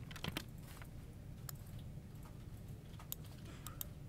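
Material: Plastic.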